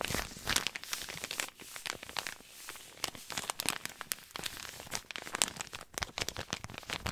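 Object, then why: Paper compress pouch. A white paper compress pouch is crinkled and rubbed with fingertips. It gives dense, bright crackling and crinkling with sharp, quick snaps, little low end, and no ring.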